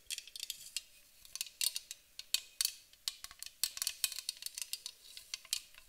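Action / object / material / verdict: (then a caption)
tap / aluminium aerosol can tapped with fingernails / aluminium / none. Long acrylic nails tap and scratch along the body of a medium-sized white Avène thermal water spray can, a hollow, pressurized aluminium aerosol can. The result is a quick, irregular run of bright, clicky taps with a thin metallic tick near 2.5 kHz, each dying away almost instantly. Soft scratching fills the gaps, over a faint steady hum and almost no low end.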